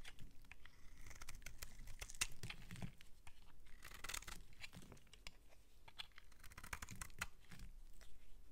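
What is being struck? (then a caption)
Bar of soap scraped with a metal blade. A metal utility-knife blade scrapes and shaves thin flakes off the surface of a solid, palm-sized mint-green bar of soap held in the hand. The result is a steady run of quiet, crisp scraping and crunching strokes with bright, brief edges and a soft low rumble underneath.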